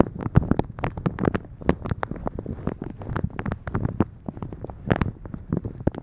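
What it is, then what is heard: Plastic shower cap being rubbed and scratched. Fingertips and long nails rub, squeeze and scratch a thin, translucent polka-dot plastic shower cap stretched over a microphone. A rapid, irregular stream of crinkling and scratching follows, with bright ticks over low, muffled thumps. It continues steadily for the whole clip.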